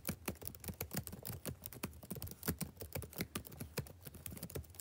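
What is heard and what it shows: Fingertips type rapidly on the plastic keys of a backlit laptop keyboard. A quiet, steady patter of short, dry clicks follows, each with a soft low thump and a brief bright tick that dies away almost at once, in an uneven rhythm throughout.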